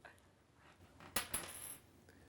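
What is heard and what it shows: A penny is dropped onto the floor to compare its sound with that of a coat button. It lands with a sharp, bright metallic clink and bounces once with a second clink, leaving a faint high ring that fades within about half a second.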